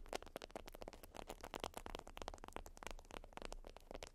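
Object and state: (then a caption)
Beeswax wrap (wax-coated cotton). A flat, folded beeswax wrap of wax-coated cotton is scratched and tapped with long acrylic nails. The result is a dense run of quick, dry crackling clicks and scrapes with bright, crisp edges over a faint low hum.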